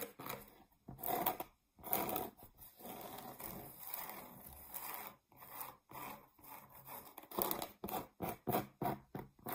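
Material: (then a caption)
Cork. Long nails scratch across the face of a flat, solid round cork board, about 20 cm across, held in the hands. Dry, bright, scratchy strokes come in irregular bursts, some short and some drawn out, with a steady rasp through the middle and quick separate swipes toward the end. The sound is quiet and close, with little low end.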